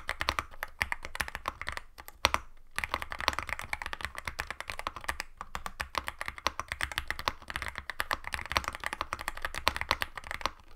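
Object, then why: Aluminum-case mechanical keyboard with plastic keycaps. Both hands type continuously on a compact aluminum-case Yunzii AL66 mechanical keyboard with Milk switches and white and black plastic keycaps, resting on a white desk. The result is a dense, rapid stream of short, crisp key clacks with a deeper thocky low end and very little ring, pausing briefly around two seconds in.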